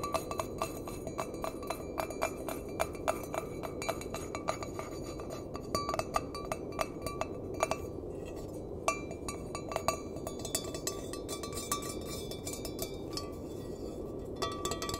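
An empty stainless steel mug with a handle is tapped with the fingertips and nails. It makes a rapid, uneven run of short, bright metallic clinks with a brief ring near 1.2 kHz, heard over a steady low hiss.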